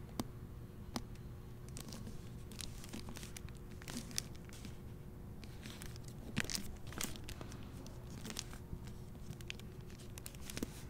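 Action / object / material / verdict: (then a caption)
scrape / hardcover book with plastic-covered dust jacket / plastic film / none. A hardcover copy of the novel *The English Spy*, with a red dust jacket in a clear plastic library cover, is held in the hand and turned over to the back cover photo. As the fingers handle it, the plastic gives off a steady stream of quiet, sharp crinkles and crackles, with a few brighter snaps. All of it sits over a constant low rumble and a faint steady hum.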